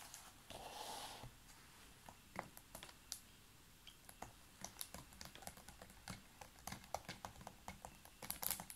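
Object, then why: Large ridged plastic water bottle. Fingernails tap on the label area and ridged sides of a large clear ridged PET water bottle, full of water and held close to the mic. Quiet, irregular dry clicks with bright edges come in quick clusters that grow busier toward the end, after a soft hissy crinkle near the start.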